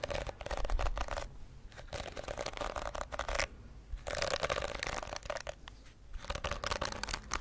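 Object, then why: Plastic hairbrush with plastic bristles. Long acrylic nails scratch and flick across the dense plastic bristles of a hand-sized pink plastic detangling hairbrush with a hollow shell, held beside the microphone. Bursts of crackly, bright scratching come in runs, broken by short quieter pauses near the second and fourth seconds.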